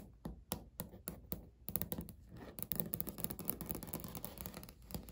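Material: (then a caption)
Laminate. Natural nails knock, tap and scratch across a flat, solid beige speckled laminate countertop. Separate sharp, dry taps with almost no ring give way after the first second and a half to a denser run of quick tapping and scratchy rustle, with bright clicky edges over a soft low thud.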